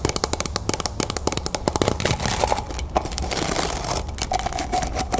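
A stack of clear, textured plastic cups, hollow and empty, is held sideways and tapped fast with long painted nails. The rapid taps come as sharp, bright clicks over a crackly, crinkling texture, with a faint hollow ring near the end.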